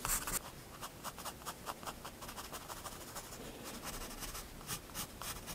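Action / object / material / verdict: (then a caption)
scrape / graphite pencil on a paper sketchbook page / paper / none. A graphite pencil held in one hand draws fine detail strokes on the right side of a picture in a spiral paper sketchbook resting on a wooden desk. Light, bright scratching comes in a steady run of short strokes over a soft, quiet background hiss.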